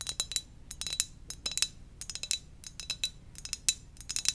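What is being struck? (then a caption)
Ceramic mug. Gentle tapping on a ceramic donut-shaped mug produces a rapid series of short, bright clinks, about two dozen in four seconds. Each tap is high-pitched and dies away almost instantly, with nearly all the energy above 2 kHz.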